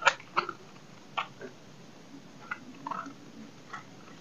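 A solid rectangular block of dry soap, held in the hand, is cut and scraped with a dark knife blade. About seven short, dry, crisp cracks and scrapes come at an uneven pace, each bright and quick to fade over a low, steady background hiss.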